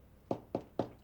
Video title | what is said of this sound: Fundamentals of Baking: Bread— Rustic Sourdough Bread | you hear that Hollow sound and that is just kind of that Telltale sign that it is ready it is absolutely perfect